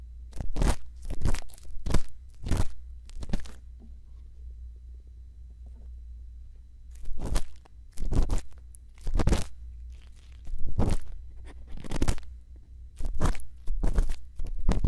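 A thin bamboo earpick, held by fingertips, scrapes inside the canal of the right silicone ear on a white binaural microphone. Close, crunchy scratching strokes come in short bursts, with a quiet pause in the middle. A steady low hum runs underneath throughout.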